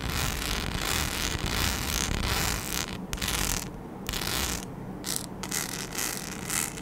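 A flat sheet densely covered in small rhinestones, with round and oval cut-outs, is scratched with long acrylic nails. The result is a continuous dense, gritty scratching with creaky, ratchet-like clicking, full from low to bright highs, dropping briefly into quieter gaps before resuming.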